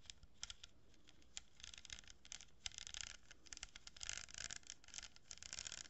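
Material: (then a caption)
Cardboard. Long nails scratch and tap the surface of a hollow cardboard tube fitted with a strip of plastic pearl beads, held diagonally. Quiet, bright, dry scratching comes in bursts of varying length, broken by short sharp taps that die away almost instantly over a faint low hum.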